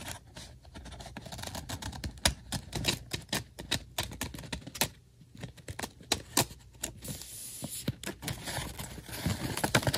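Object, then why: Printed cardstock badge. Fingertips and nails tap and scratch across a large, round, printed paper or cardstock "Camp Tingle" badge lying flat, thin and solid rather than hollow. Quick, dry taps with almost no ring mix with bright papery scratching over a soft low thump. Louder sharp taps stand out at irregular moments throughout.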